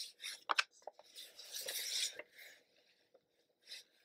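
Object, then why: Small cardboard box. Black-gloved fingertips rub and scratch across the printed surface of a small, hollow kraft cardboard retail box for a Starbucks paper camera, apparently still closed with its contents inside, as it is held in both hands and turned from front to back. Dry, bright scratching and rubbing swells and fades, broken by a few short, sharp taps. The sound is quiet and crisp, with almost no low end.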